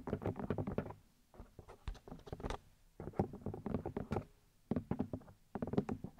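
Long light-grey nails tap and scratch the outer ear discs of a black 3Dio binaural microphone with two white plastic ear housings and silicone ears. Rapid bursts of dry, clicky taps come in quick clusters separated by brief quiet pauses, with a hollow low-mid body and almost no ring after each hit.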